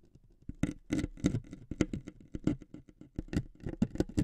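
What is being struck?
Thin wooden veneer strip scraped with metal needles.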